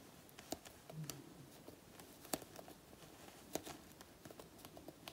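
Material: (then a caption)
Faux leather. Long natural nails scratch and pick at a black faux leather jacket panel with peeled flakes. Quiet, irregular, sharp scratchy clicks and brief crackles stand out over a soft rustling bed, with a few brighter snaps. Each sound dies away almost instantly.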